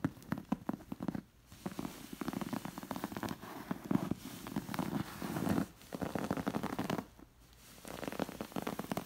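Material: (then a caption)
Cotton. Long nails scratch and trace over the stitched fabric appliqué animals on a stuffed beige cotton pillow. The result is a dense, soft crackling scratch, mostly low and warm with little brightness, broken by two brief quiet pauses.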